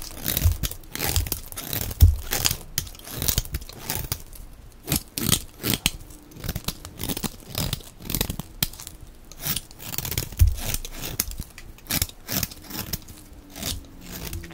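A utility knife blade scrapes and shaves thin curls off the surface of a solid, hand-sized, dark blue rectangular bar of dry soap held in one hand. The result is a rapid run of dry, crisp scraping and crunching strokes, each a short bright burst with a soft low thump underneath, continuing throughout the clip.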